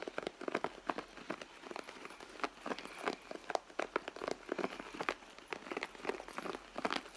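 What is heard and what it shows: Long nails scratch the stitched leather panel of a red leather handbag, which sounds hollow and soft. A quiet, steady run of many short, dry scratches and crinkly taps carries mostly mid-range energy with a little high sparkle and almost no low end.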